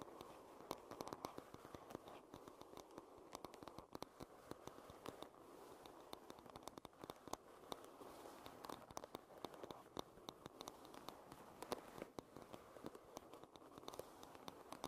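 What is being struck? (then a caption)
Wooden paddle hairbrush back. Long red nails tap and scratch the solid wooden back of a wooden paddle hairbrush. Quick, dense, crackly clicks ride over a steady scratchy rustle, with most of the body in the low-mid range and faint bright ticks. The sound stays soft and close throughout the clip.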